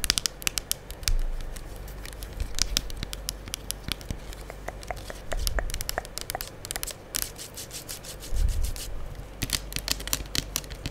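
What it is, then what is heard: Plastic liquid soap pump bottle. A full gold plastic liquid soap pump bottle is moved from side to side of the mic while long acrylic nails tap and scratch it. Quick, dry clicks and bright scratchy scrapes play over a soft, low rumble, with brief louder swells of handling noise.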